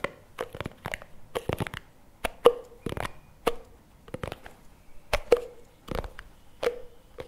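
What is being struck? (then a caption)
Small plastic jar with lid. A small plastic NOVI chocolate spread jar with its lid is turned in both hands while fingertips and nails tap and scratch its sides and lid. Quick, irregular clicky taps mix with soft scratchy rustles, and some taps carry a brief hollow tone around 480 Hz that dies away almost at once.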